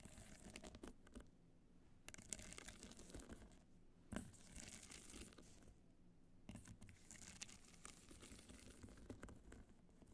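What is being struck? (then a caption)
Hard-shell evening clutch covered in rhinestones. Long nails scratch and tap across a small, hollow black hard-case evening clutch covered in multicolored rhinestones, working over the jeweled surface and near the clasp. The result is a dense, bright, crackly scratching texture with brief sharp clicks. It is broken by two quieter pauses and a louder tap about midway through.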